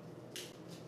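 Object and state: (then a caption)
Crisp baked pita chips. Freshly baked pita chips, done in a 350-degree oven, are handled, and they give off a bright, dry crackle: one rustle near the middle of the clip and a fainter one near the end. The sound shows the chips are baked through and crisp.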